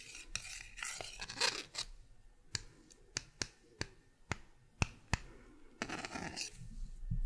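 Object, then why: Thin flat plastic paddle tapped with a pen tip. A purple pen tip scratches and taps across a small, thin, solid green plastic paddle-shaped object with a short handle, held in one hand. Bright, dry scratching opens the clip, followed by seven separate sharp clicking taps with almost no ring. Raspy scratching returns at the end.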